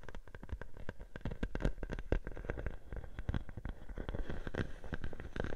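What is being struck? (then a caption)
Plastic bubble wrap sheet. A clear plastic bubble wrap sheet laid over a microphone is scratched by long nails, then lifted and crinkled. The result is a steady stream of dense, rapid crackles and soft pops, heavy in low thumps and close to the mic, with short bright clicks throughout.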